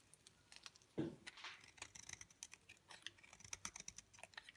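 A utility knife blade shaves flakes off a thinning, dry, pale green solid bar of soap held in the palm. A fuller, louder scrape comes near the start, followed by a rapid series of short, crisp, bright scraping clicks with very little ring.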